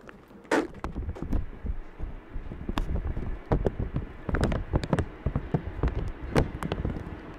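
Fingertips and short nails tap, press and crinkle a thin clear plastic bag, wet with water droplets, wrapped over a black microphone resting on a tray. The result is an uneven run of dull, close, muffled thumps heavy in the low end, with short bright crinkly clicks and brief rustles in between.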